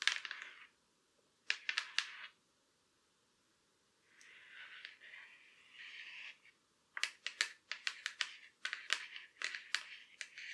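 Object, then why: Thin laptop lid shell, metal or plastic. Very long black acrylic nails tap and scratch along the top edge and back of the closed or raised lid of a silver Acer laptop, a thin hollow aluminum or plastic shell. Quick bright clicky taps come in short bursts, then a softer, steady scratching passage follows before a run of rapid, sharp taps with very short ring.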